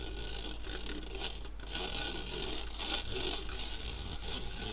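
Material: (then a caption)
Stainless steel. A metal fork scratches across the fine stainless steel wire mesh of a round, medium-sized kitchen strainer with a metal rim, held empty by its handle. It makes a steady, bright, hissing scrape that swells and fades in repeated strokes, concentrated in a high band with almost no low end.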